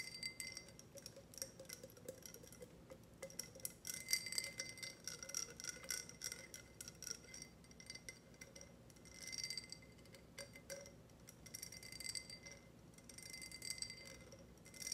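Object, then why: Ribbed glass tumbler. A tall, empty, clear ribbed glass tumbler is tapped on its base and sides with long red nails. Quick, light clicks and bright clinks come in irregular bursts, with a high, thin glassy ring that dies away almost at once.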